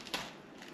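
A knife cuts through the crispy, evenly browned skin of a rested, oven-roasted five-spice duck while separating half the bird. Two bright, crackling crunches are heard, the first and loudest followed by a softer one, with little low end. The crackle shows how crispy the skin is.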